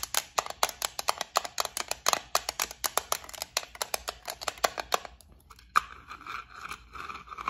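Long nails tap and scratch the lid and edges of a small clear plastic case holding gold beads. For about five seconds there is a rapid series of sharp, bright, clicky taps with almost no ring. After a brief pause, a single louder tap gives way to a softer, continuous scratching rustle.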